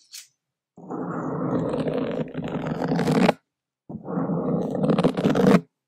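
The tip of a single wooden skewer scratches across a black foam microphone windscreen in two sustained bursts of dense, crackling scraping. A brief high tick comes first, and each burst builds brighter toward its end before cutting off.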